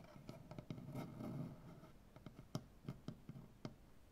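One hand with short-to-medium black-painted nails scratches and taps the surface of a large, solid, light-wood maple butcher block tabletop. First comes a soft, continuous scratching rustle, then a run of quiet, dull, low knocks that die away almost instantly.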